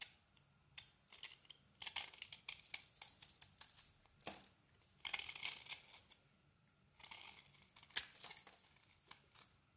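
A solid rectangular bar of soap with a dark glittery coating over a yellow core is held in hand and scraped and carved with a small metal blade. Bright, crisp scraping and shaving sounds come in clustered bursts separated by short quiet pauses, with almost no low end.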